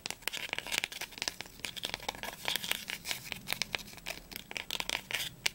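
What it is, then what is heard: Cloth-bound book spine, solid. Fingernails quickly tap and scratch the textured linen spine of a small, solid, blue cloth-bound book, held sideways and then upright. A rapid run of about two dozen dry, crisp clicks mixes with papery scratching, bright and high with almost no low end, and each tap dies away instantly.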